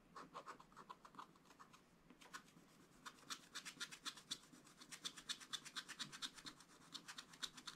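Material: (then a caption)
Wax-coated card. A wooden stylus scratches the coating off a black wax-coated scratch-art paper page in short strokes while the other hand holds the book. Quiet, bright, dry scratching strokes follow one another in a quick, uneven rhythm, each one brief with no ring.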